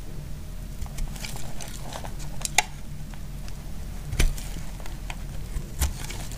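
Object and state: Bar soap shaved with a blade.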